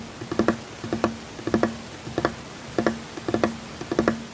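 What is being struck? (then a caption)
Wooden tabletop. Fingertips of one hand tap rapidly and continuously on a flat, solid wooden tabletop. Short, dry knocks with a low-mid body come in quick clustered bursts. Each one dies away almost at once.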